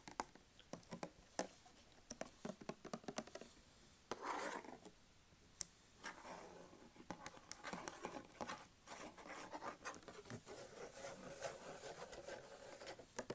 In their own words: 02:48 tapping/scratching on a handsoap dispenser